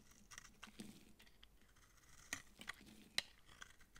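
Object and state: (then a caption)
Dry soap bar. A utility knife blade scrapes thin shavings from a round, palm-sized, solid, dry yellow massage soap bar with dark specks, held in the palm. A series of quiet, dry, bright scrapes and crisp crackling ticks sounds over a soft hiss. Each stroke is short, with no ring, and a few sharper clicks stand out.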